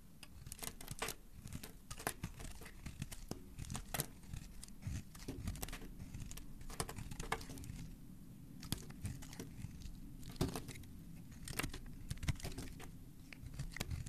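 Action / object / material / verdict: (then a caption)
scrape / bar of soap cut with a steel blade / soap / none. A hand-sized solid white bar of soap embossed "green day" is held in one hand and carved with a steel utility knife blade, scraping and shaving off curls and flakes. Many quick, crisp crackling cuts with bright edges are heard over a steady low rumble.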